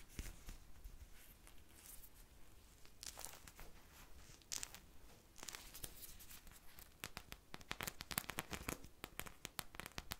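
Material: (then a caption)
Polyurethane foam. A purple polyurethane foam ice cream bar squishy, with textured sprinkles and a wooden-look stick, is held in both hands and scratched with long nails close to the mic. Dry, crackly scratching and rasping strokes come as bursts of bright, broadband scrapes over a quiet low rumble. The strokes grow denser and sharper toward the end.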